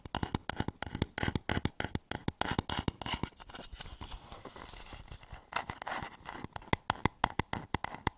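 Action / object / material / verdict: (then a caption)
scrape / wooden bowl / wood / none. Fingernails scratch and tap the outer wall of a hollow wooden bowl turned upside down over a microphone. Quick, dry, broadband taps and scratches come in dense runs at the start and end, with softer, continuous scraping in between.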